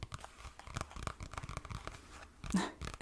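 A small brown kraft cardboard-covered notepad is held flat in front of the mic while fingertips and nails tap and scratch its cardboard cover. The result is a quick run of dry, soft taps mixed with scratchy, crinkly brushing. A louder, fuller tap lands near the end.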